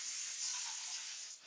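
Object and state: Nothing is struck.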